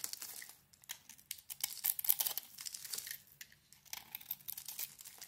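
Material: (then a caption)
Soap. A metal blade scrapes a solid hand-wash soap bar, green coating over a yellow core, into crumbly shavings. The result is a quiet, bright, dry crinkling and crackling, with rapid small scrapes and crunches that stop abruptly with no ring.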